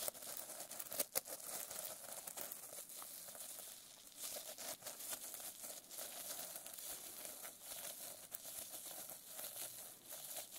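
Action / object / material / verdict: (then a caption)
scrape / notebook with plastic sequin cover / plastic sequins / none. Long nails scratch across the plastic sequin cover of a notebook resting on a lap. The result is a quiet, steady, bright crinkling and scratching texture, dotted with small sharp clicks as the sequins flip and catch.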